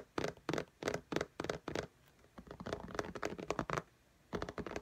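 Long nails tap and lightly scratch the glass screen of an iPad in a pink case. Six evenly spaced, crisp clicks come first, then a quicker run of dense, scratchy taps, a short pause, and another fast burst. The taps are dry and short, centred around 414 Hz with little low end.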